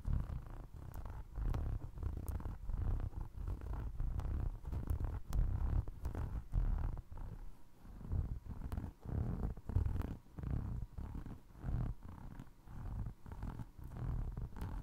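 A single navy blue Crocs clog is held sole-up while fingertips and short nails scratch and tap its ridged foam resin tread. The sound is a low, muffled rumbling scrape, almost entirely deep in tone, broken by soft dull taps and occasional brief bright clicks that stop instantly with no ring.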